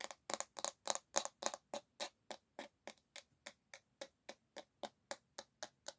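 Long nails tap hard on the solid bamboo back of a paddle hairbrush held by its handle, producing 24 sharp, dry, bright clicks that die away almost instantly. The taps come in quick, slightly uneven pairs at first, then settle into a steadier rhythm that grows a little quieter.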